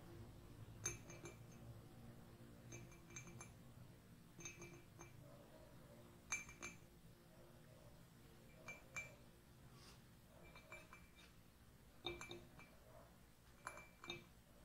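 Fingernails and a finger ring tap and scratch the outer wall of a hollow white ceramic mug with gold lettering. Bright, glassy clinks with a short, high ring come in scattered clusters. Soft scratching and a low background hum fill the gaps between them.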